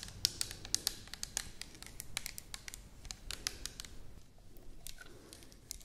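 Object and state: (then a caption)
Plastic bottle tapped and scratched with nails. Long nails tap and scratch the body of an orange plastic toner bottle with a white cap. Quick, irregular, bright clicks with almost no ring come over a soft scratchy rustle, heaviest in the first second and a half, then easing into lighter, scattered taps.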